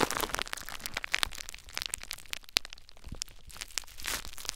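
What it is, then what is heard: Plastic bubble wrap. Clear plastic bubble wrap wrapped around a recorder is pressed, scratched and squeezed by fingertips to pop the bubbles. The result is a dense stream of sharp, bright cracks and crinkling crunches over a steady rustle, with short loud pops standing out near the start, middle and end.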